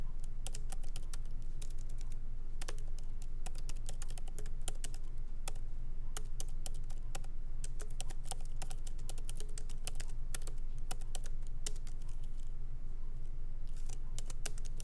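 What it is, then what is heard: Laptop keyboard with plastic keys. Both hands type lightly with their fingertips on a MacBook Pro laptop keyboard, plastic keycaps set in an aluminum body, resting on a wooden desk. A steady stream of quick, bright, clicky taps comes at an uneven pace over a constant low hum.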